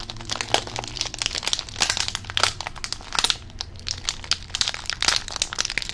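A hand-sized green Rizadas chip bag made of plastic foil and full of chips is squeezed and crinkled with the fingers close to the microphone. It produces a dense, bright crackle of sharp, short crinkles and crunches that rise and fall in bursts over a faint low hum.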